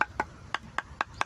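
A macapuno coconut is flicked to tell it apart from an ordinary coconut, giving six short, dry taps about 0.2 seconds apart. Each tap has a solid, stone-like knock centered in the mid range with almost no ring. The solid sound marks this coconut as a macapuno.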